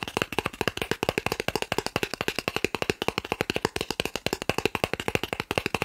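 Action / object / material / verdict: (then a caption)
tap / thin plastic card / plastic / none. A thin, solid green plastic gift card the size of a credit card is held up in one hand and rapidly tapped and scratched with fingertips and short nails. About fifty quick, dry clicks follow one another in a steady, fast run, each short with no ring and a bright, crackly edge over a hollow plastic tone.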